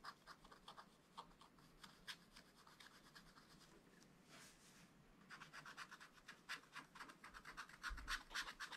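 A wooden stylus scratches fine lines into the black coating of a thin, flat scratch-art page in a spiral-bound book. Quiet, bright, dry scratching comes as a steady run of short strokes, about four per second. Midway, one longer smooth rasp breaks the rhythm before the quick strokes return, denser and slightly louder toward the end.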